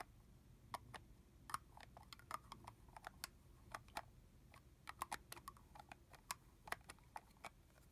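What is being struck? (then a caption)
Plastic mist bottle with cap. Long fingernails tap and scratch a capped, liquid-filled clear red plastic body mist bottle, on both its body and the top of the cap. The result is a quiet, irregular stream of quick, dry clicks and ticks with a bright edge, each stopping instantly with no ring, over a low background hiss.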